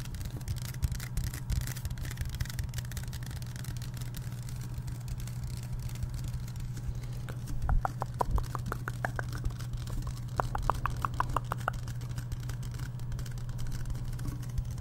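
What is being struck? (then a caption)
Aluminum drink can. A Liquid Death aluminum drink can, apparently sealed and full, is held close to the mic while fingertips and nails tap its body, top and bottom rim. A steady low hum runs throughout, and two quick runs of crisp taps ring out with a short metallic tone around 1 kHz, the first from about seven to nine seconds and the second near ten to twelve.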